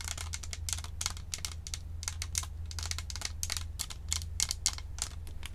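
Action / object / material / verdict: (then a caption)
tap / plastic microphone body with metal mesh grille / plastic / none. Long acrylic nails tap rapidly on a round, hollow white plastic Blue Snowball USB microphone with a metal mesh grille and badge. The taps are sharp, bright, clicky ticks that die away almost at once, over a steady low hum.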